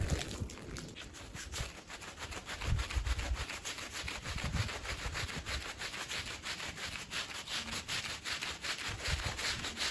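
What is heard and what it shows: A green plastic push broom scrubs a small woven fabric rug covered in foam, making a steady run of quick, rhythmic, bristly rasping strokes. The wet, bright scrubbing is joined by occasional low thumps as the broom presses against the rug.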